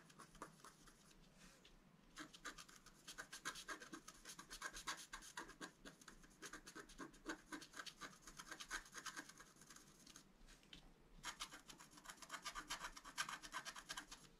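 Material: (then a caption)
Coated paper. A wooden stylus scratches the upper flower area of a flat black-coated scratch art card lying on a table. Dense, rapid, dry scraping strokes with bright, hissy texture come in quick bursts, pausing briefly around two and eleven seconds.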